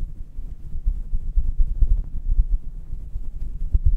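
Fingertips and long red-painted nails of both hands rub and stroke a hollow, fluffy grey synthetic fur windscreen over a standing USB microphone. The result is a deep, muffled rumbling and thumping, almost entirely low-pitched, that swells and fades in uneven bursts with no bright content.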